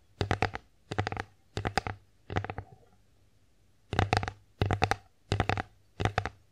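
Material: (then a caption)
Wood. Long acrylic nails tap the front of an empty wooden bear-face plate held in the hands. Eight quick bursts of clicky, dry taps come with a low woody thump, and there is a short pause near the middle.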